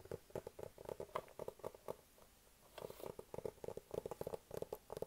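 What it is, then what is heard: Hollow cardboard box. A hollow, medium white cardboard iPad mini box is tapped with fingertips and nails on its top and sides. Quick, dry taps with a hollow mid-pitched tone come in rapid bursts, pause briefly near the middle, and then resume.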